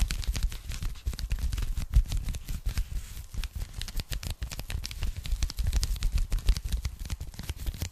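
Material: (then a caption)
Polyethylene foam. A pink polyethylene foam packing bag, rolled or folded into a narrow strip and held in both hands, is rapidly tapped and scratched with long nails. The result is a dense, continuous stream of short, dull, crackling taps with a deep, thumpy low end and very little ring.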